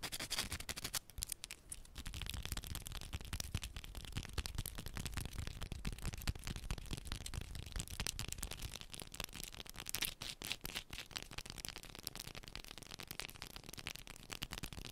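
Long pointed nails scratch and tap fast and hard on the surface of a small solid yellow bar of soap held in both hands. A dense, continuous stream of crisp, bright scratches and clicks sits over a low, dull body, with a brief softer dip early on before the steady rapid scratching resumes.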